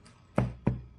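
A heavy, solid metal New England Patriots replica championship ring is knocked twice on a surface to show how heavy it is. Each knock is a short, dull, low thud with almost no ring-out.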